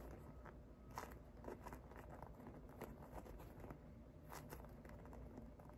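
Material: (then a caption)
Polyurethane foam. A hand-sized soft polyurethane foam unicorn squishy with a blue body, pink and purple mane and yellow horn, made of solid foam with a painted surface, is held in one hand and tapped and scratched with medium-length painted fingernails and fingertips. Quiet, dry crackly taps and scratching strokes come in irregular bursts, with brief bright clicks over a steady low background hum.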